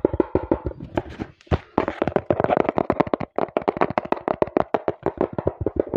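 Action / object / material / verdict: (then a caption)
tap / small cardboard box / cardboard / none. Fingertips with painted nails tap rapidly on the surface of a small, hollow brown cardboard box close to the mic, then tap it again while it is held up. The result is a fast run of short, dry, hollow knocks with a mid-low tone and almost no ring, broken by a few brief pauses.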